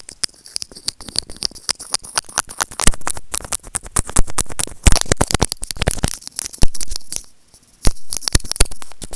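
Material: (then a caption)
Plastic. A small hollow white plastic earphone remote with a mic is scratched and tapped with white plastic tweezers. Dense, dry clicks, scrapes and crackles come close together, with a thin high hiss above. Each hit dies away almost instantly, and the contact gets louder in bursts before a short quiet gap near the end.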